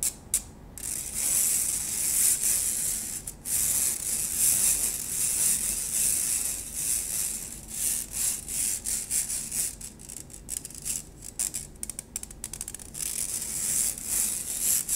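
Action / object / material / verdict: scrape / stainless steel wire-mesh strainer / stainless steel / none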